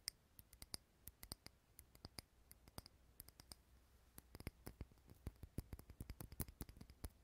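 Fingernails tap the sides of a small, unlit glass jar candle, a clear glass holder filled with solid green wax, close to the mic. The result is a quick, uneven run of sharp, bright clicks with a faint glassy ping that dies away instantly, over a quiet low hum.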